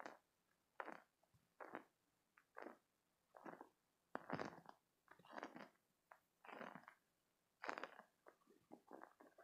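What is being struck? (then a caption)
Spiky silicone squeeze toy. A green spiky silicone stress toy is held in both hands, squeezed, and its spikes rubbed with fingertips and short nails. The sound comes in short, quiet bursts of squeaky, rubbery rubbing and scratchy friction, mostly midrange with some bright edges. The bursts are separated by brief near-silent gaps.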